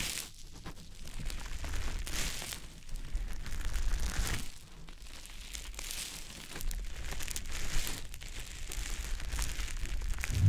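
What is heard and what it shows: A small, soft, porous, damp green teardrop-shaped konjac puff is held in the fingers and rubbed over the silicone ear of a dummy-head microphone. It makes close, wet squishing and crinkly rubbing sounds over a heavy low rumble, swelling and easing in slow waves with faint bright crackles throughout.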